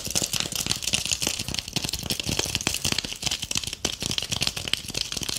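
Long painted acrylic nails rapidly scratch and tap a palm-sized ornament ball covered in gold metallic tinsel, held up close. The result is a dense, bright crinkling rattle of quick, crisp clicks and rustles with almost no low end, each tap dying out instantly.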